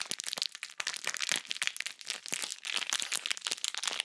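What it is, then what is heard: Plastic bag of bead slime being squeezed. A small, full, clear plastic bag of purple glittery bead slime is squeezed in the hand with fingers and long nails close to the microphone. The result is a dense, continuous run of bright, crisp crinkling and crackling clicks with almost no low end.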